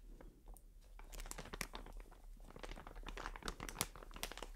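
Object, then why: Plastic film bag of cotton pads. A medium white plastic film bag full of cotton pads is held in the hands and scratched and squeezed with long dark nails and fingertips. It makes a dense run of dry, crinkly crackles and sharp bright ticks over a steady low hum. The crinkling swells and eases in short bursts throughout.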